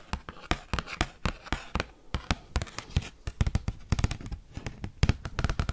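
Metal paperclips worn on the fingertips tap and scratch an oversized, thin cardboard Pokemon trading card held upright. A fast, irregular run of sharp, dry clicks with very short decay is heard, each with a low papery thump and a bright crack, with soft scratching between the taps.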